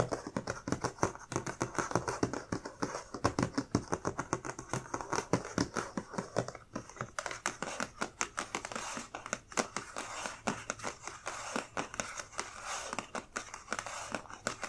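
Long dark nails tap and scratch the lid of a closed, medium-sized black printed cardboard subscription box with items inside, while hands hold and tap its sides. Quick, dry taps come in steady bursts over soft scratching and crinkling, each hit dying out almost at once.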